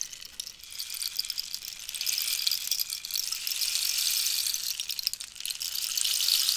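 A hollow cactus wood rainstick with a red-yellow-green band is tilted while long nails tap near the top and pellets rattle inside. The result is a dense, bright hiss of tiny clicks like falling rain, with almost nothing in the low end. It swells from quiet to steady and loud over the clip.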